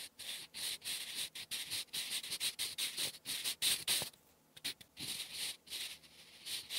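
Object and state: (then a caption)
Pencil writing on lined paper. A sharpened wooden graphite pencil held in the fingertips writes cursive English on flat lined writing paper resting on a solid surface. The tip scratches and rubs across the sheet in quick bright bursts, broken by short pauses and a longer gap midway.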